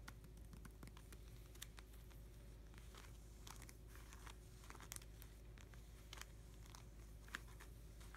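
Fingertips and short nails of both hands tap and rub across an open binder page of clear plastic pocket sleeves holding cardboard hockey cards, the page lying flat on the binder. Quiet, bright plastic crinkles and short sharp ticks scatter throughout over a steady low hum.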